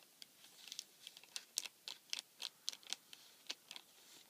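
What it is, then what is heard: Cardboard tissue box with plastic film window, scratched. Fingertips and nails scratch and rub continuously along the clear plastic film window of a flattened, empty cardboard tissue box. The result is a quiet, bright, crackling patter of about fifteen short, crisp scratches at an uneven pace, with no low-end body.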